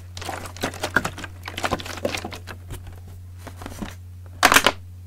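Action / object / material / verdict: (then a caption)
scrape / partly filled plastic water bottle / plastic / none. Fingertips and nails scratch and tap the ribbed sides of a large clear green PET plastic bottle with a red cap, partly filled with liquid. A series of short, crisp crinkling taps and scrapes rises over a steady low hum, ending with a louder burst of bright scratching.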